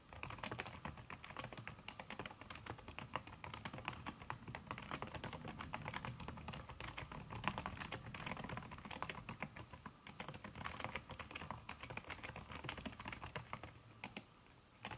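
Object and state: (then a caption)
Silicone-covered laptop keyboard. Fingertips with long red nails type fast on a backlit aluminium laptop keyboard fitted with a red silicone key cover. The result is a steady stream of soft, muted taps with short, dull clicks and very little ring, continuing for the whole clip with no pauses.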